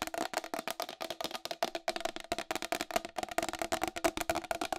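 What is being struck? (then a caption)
Round plastic wall clock. Long acrylic nails tap fast on the rim and face of a round white plastic wall clock with a hollow case. About 27 quick, dry clicks carry a hollow, resonant tone near 660 Hz with a bright edge and almost no low end. Each tap dies away almost instantly.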